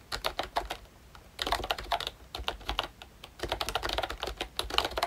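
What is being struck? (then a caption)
Plastic membrane keyboard. Fingertips type on a pink plastic ROYCHE Disney Mickey Mouse retro membrane keyboard with round keycaps and a hollow body. Quick, bright, clacky taps come in bursts separated by brief pauses around one and three seconds. Each tap dies away almost instantly, with a faint hollow low thump beneath.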